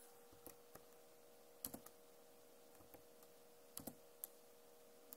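Long nails tap and scratch across the plastic keycaps of a backlit Acer laptop keyboard. Sharp, bright clicks arrive irregularly, some in quick pairs, over a quiet background with a steady low hum.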